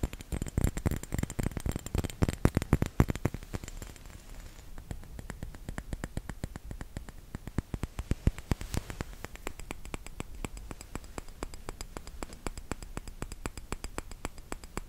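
A small round glass bottle filled with red liquid is tapped and scratched with fingertips and nails close to the microphone. Many rapid, uneven taps with short, dull, low-heavy clicks are loudest in the first few seconds, then settle into a softer, steady stream of tapping and scratching.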